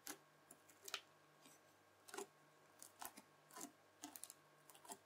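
A round red bubbly slime disc is stabbed and pressed repeatedly with the tines of a white plastic fork. Each press gives a quiet, short, bright crackling click, with the clicks coming in irregular bursts over a faint steady background hum.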